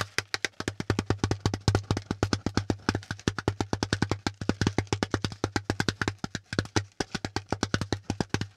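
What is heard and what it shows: Fingertips and nails rapidly tap and scratch the hollow pleated ridges of a brown corrugated cardboard packaging insert held close to the microphone. About 65 short, dry, hollow taps with a bright papery edge sit over a steady low hum.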